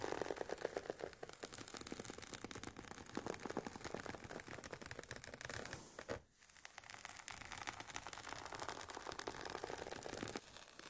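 Long painted nails scratch across the woven nylon fabric cover and sides of a hollow, oval, semi-rigid carry case for Sony WH-1000XM4 headphones. The scratching is a dense, rapid, dry rasp with a hollow midrange tone. It breaks off briefly just after six seconds, then resumes at a similar level until the end.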